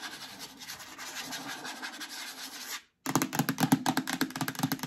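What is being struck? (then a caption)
Plastic storage bin. An empty, medium-sized hollow yellow plastic storage bin is scratched and tapped on its bottom and sides with long dark nails. A steady, dense scratching texture runs for nearly three seconds, then stops. After a brief silence comes a quicker series of sharper, hollow tapping and scratching hits with a low resonant body.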